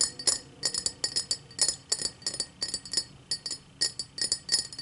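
Long matte black nails tap around the rim and base of an empty tall cut-crystal highball glass. A quick, uneven series of light, bright clinks is heard, each with a short high glassy ring and almost no low end.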